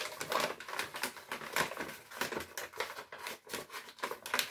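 A flat, empty brown kraft paper bag printed with recycling symbols is held in both hands and crinkled and scratched with the fingers. It makes a rapid series of dry, papery crackles and scratches with a bright, high edge and almost no low end, each burst dying away almost at once.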